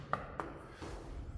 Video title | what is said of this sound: Oublis lors d'une rénovation complète d'un appartement et conséquences sur le DPE | je tape, hein, c'est quand ça sonne creux